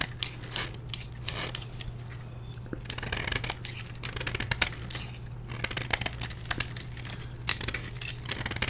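A solid block of dyed blue gym chalk, held in hand, is scraped repeatedly with a metal blade, and chunks crumble onto a tray. The clip is a run of short, bright, gritty scraping strokes with quick crackly snaps over a steady low hum.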